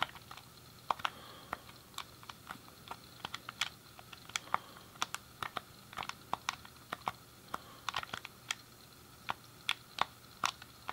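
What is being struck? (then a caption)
Plastic game controller buttons. Thumbs and fingertips rapidly click the face buttons and D-pad of a hand-sized, hollow grey plastic SNES game controller. About 37 sharp, dry plastic clicks sound in an uneven, quick rhythm, each very short and bright with almost no ring, over a quiet, steady background hiss.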